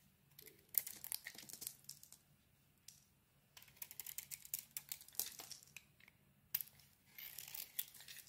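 A utility knife blade scrapes thin shavings from the surface of a solid, hand-sized lilac and white bar of soap. Quiet, bright, crisp scraping and crinkling strokes come in three bursts separated by short pauses, over a faint low steady hum.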